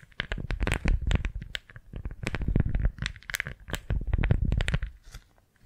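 A thin pink floral beeswax-coated fabric food wrap, folded small and held in both hands, is squeezed, gripped and crinkled with fingertips and long nails, then flattened. The result is a dense run of close, overlapping crinkles and stiff crackles with a low, muffled body and sharp bright flicks. The sound trails off quietly at the end.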